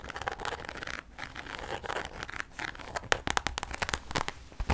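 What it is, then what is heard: Clear vinyl handbag, crinkled and scratched. A medium, hollow, clear pink vinyl Barbie rainbow handbag made of translucent pink PVC is crinkled, tapped and scratched with long nails. Dense plastic crinkling and scratchy rustling fill the first half, then sharper, bright clicking taps stand out in the second half with a dry, quick decay.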